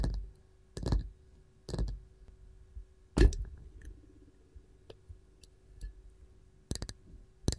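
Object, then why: Wooden canister lid. Long gold nails of both hands tap a round varnished wooden canister lid with a wooden ball knob. Dull, low knocks with short bright clicky edges die away almost instantly, in scattered bursts with softer light ticks between them over a faint steady hum.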